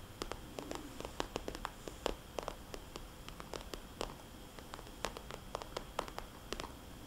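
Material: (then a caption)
Plastic. A small red polka-dot glossy plastic cosmetics bag, a hollow pouch held upright, is tapped and traced with fingernails and fingertips. Quick, crisp clicks with bright edges and almost no ring come in an irregular string over a low, steady background hiss, with softer scratchy tracing between the taps.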